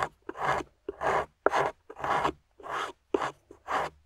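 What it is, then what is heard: Plaster block being scraped with a pick. A metal pick with a wooden handle scrapes and chips at a solid grey plaster fossil-dig excavation block, surrounded by crumbled plaster debris, while long-nailed fingers hold it steady. Short, dry, gritty rasping strokes come in a series of separate bursts with brief silences between them, each with a bright scratchy edge and no ring afterward.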